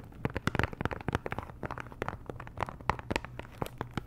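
Long nails tap and scratch the sides and edges of a small pink Chanel perfume box, a hollow cardboard box, probably still in its cellophane wrap, with no contents showing. About twenty quick, dry taps ring briefly over a soft crinkly scratching, with no ring after each hit.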